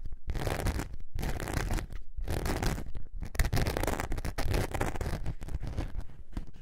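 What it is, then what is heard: Glitter foam craft sheet being scratched. Long nails scratch the glitter surface of a thin, flexible glitter foam craft sheet held curved in both hands. The scratching comes in dense, rasping bursts separated by brief pauses, with a deep, low-heavy texture and a faint bright hiss.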